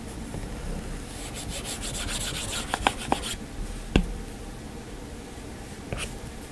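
A plastic stylus tip scratches and taps across the flat glass screen of an iPad while sketching. A soft, steady rubbing rasp swells with bright, rapid scratchy strokes in the middle. Several short, sharp ticks stand out, the loudest near the four-second mark, before the sound settles back to quiet scratching.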